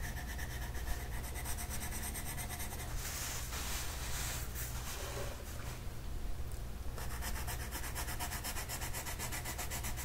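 A purple colored pencil makes repeated scratchy coloring strokes across a flat paper mandala coloring sheet. The strokes form a steady, rhythmic rubbing texture with a bright, papery hiss over a constant low rumble.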